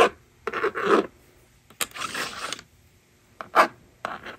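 A plastic stylus rubs and scratches numbers onto a plastic magnetic drawing board resting on a table, and the eraser slider is pushed. Short bursts of dry, raspy scraping come and go with brief silences between them, mostly in the mid range with some bright edge and no low end.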